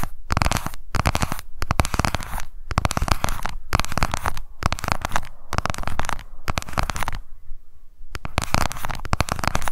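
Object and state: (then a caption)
Plastic cosmetic compact. A small pink plastic cushion foundation compact with a clear lid, held in the fingers, is tapped rapidly with long nails. The result is fast, dense bursts of dry, sharp clicks separated by brief pauses.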